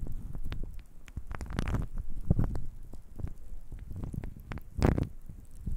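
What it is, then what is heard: Small wooden cubes shaken in the hands. A handful of small, solid, reddish-grain wooden cubes is held in the hands and shaken, with the fingers rolling and knocking the cubes against each other. The result is a rapid, irregular stream of dull, low, muffled clacks and rattles with very short decay, building into a couple of louder, denser bursts.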